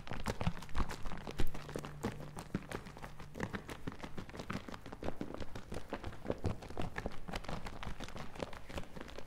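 A medium plastic bottle partly full of green liquid is shaken in the hands close to the mic, the liquid sloshing inside. It makes a dense, irregular run of short, low-heavy sloshes and soft knocks with brief clicky transients, over a faint steady low hum.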